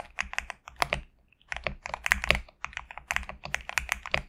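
A compact 65% GMK67 mechanical keyboard with a black case and white/cream PBT plastic keycaps sits on a desk mat and is typed on rapidly with the fingertips of both hands. Bright, short, clicky keystrokes come in quick bursts, with a brief pause near the middle.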